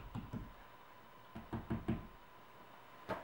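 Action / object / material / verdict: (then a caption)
tap / drywall wall over wood stud / gypsum board / solid. A hand rests flat on a drywall wall over a wood stud while the middle finger taps it, percussion-style, producing several short, dull, low knocks with almost no ring. The less hollow, solid sound marks the stud's location.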